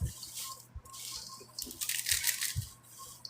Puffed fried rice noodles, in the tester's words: Listen how crispy it is.